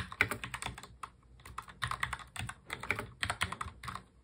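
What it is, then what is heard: Plastic mechanical keyboard. Both hands type fast on a full-size black mechanical keyboard with plastic keycaps, fingertips tapping the keys. The result is a quick run of bright, clacky keystrokes in uneven bursts with short pauses. Each click is dry and dies away almost instantly.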